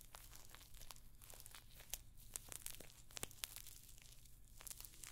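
Long nails scratch across the rows of small, hollow rose-gold metal pyramid studs on a rectangular clutch bag held close to the microphone. The result is a fast run of bright, dry clicks and scratchy ticks, some sharper than others, over a steady low hum.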